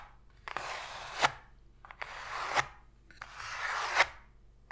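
Long pointed fingernails scratch across the bottom of an empty, open white cardboard box tray, making three rasping, bright strokes that each end in a sharp tap. The hollow cardboard gives a dry, papery scrape with short, quick ticks between strokes.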